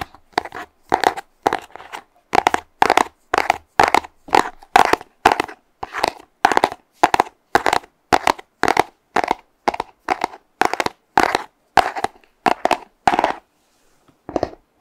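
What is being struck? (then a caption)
Small cardboard box. A small, hollow, purple printed cardboard box is held near the mic and tapped and squeezed with fingernails and fingertips. It gives a steady run of short, dry, crunchy tapping bursts with a papery crinkle. A brief pause comes near the end before one last burst.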